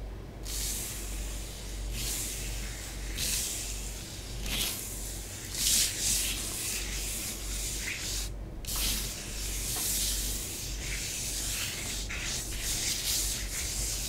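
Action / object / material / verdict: scrape / powder layer on a flat table, rubbed with fingernails and fingertips / powder / none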